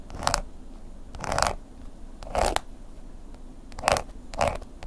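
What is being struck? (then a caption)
Embossed leather wallet scraped with a wooden pick. The tip of a wooden ear pick scratches and scrapes across the woven-pattern embossed leather(-like) surface of a long, flat black wallet lying on a table. Five short, dry, raspy scraping bursts stand out, each centered in the midrange with a bright, gritty upper edge. Quiet gaps with a faint low background hum separate them.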